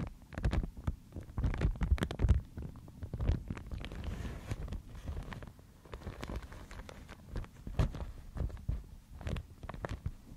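A thin, fibrous white Thai mulberry paper sheet is held in both hands and crinkled, then brought close and handled with long nails. Dense, uneven crinkling and rustling is heard, with many quick, sharp crackles reaching up into the high range over a heavy, close low-end rumble that rises and falls throughout.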